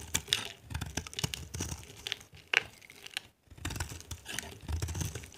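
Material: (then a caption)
Soap. A small metal blade scrapes and carves flakes off a solid, dry, palm-sized orange soap bar with an embossed logo, held in a hand with red nails. The result is a run of dry, crinkly, tearing scrapes with bright, crisp texture and some low rumble underneath, broken by a brief pause partway through.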